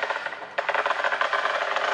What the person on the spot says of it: dès lors qu'on entend à l'oreille un son creux, on sait à ce moment-là que Le carreau, il n'adhère pas correctement